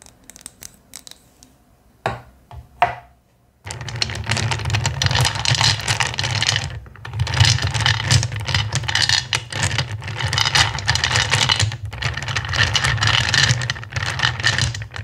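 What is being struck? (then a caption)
Pile of small clear acrylic gems. Hands dig into a bowl of loose small clear faceted acrylic gems, scratching and stirring the pile with fingertips and short nails. A few light clicks come first, then from about four seconds on a dense, continuous rattling clatter with a low rumble underneath.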